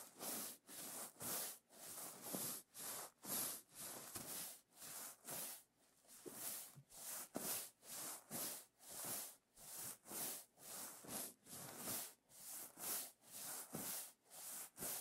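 Fingertips and nails rub and flip reversible plastic sequin fabric on a pillow, turning the sequins to show both colour sides. The result is a steady series of bright, hissy, scratchy swipes, roughly one per second, each rising and fading with brief quiet gaps between.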